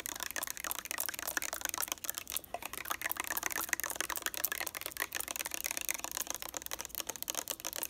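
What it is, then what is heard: Plastic bottle tapped with fingernails. Long nails tap and click quickly across the surface of a lavender plastic makeup remover bottle held in both hands. The result is a dense, continuous stream of crisp, bright, dry clicks with almost no low end and no ring after each tap.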